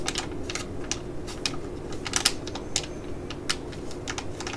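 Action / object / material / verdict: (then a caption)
tap / laminated plastic foil sachet / plastic foil / none. A small, full, black laminated foil eye-patch pouch is held in the hands, then tapped and crinkled with long nails. The clip carries quick, bright, clicky taps and crinkles over a steady low hum. The sounds are close together, irregular and short, and each dies away almost at once.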